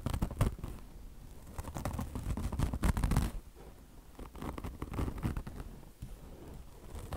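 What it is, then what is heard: Mesh and chenille car wash sponge. Long blue nails scratch a beige peanut-shaped car wash sponge, a polyester mesh top over foam with a chenille fringe, while fingers drag across the mesh. The result is rapid, irregular, dry scratching and rasping with a soft, muffled low-end weight. The strokes swell louder near the start and middle, then ease into quieter rubbing.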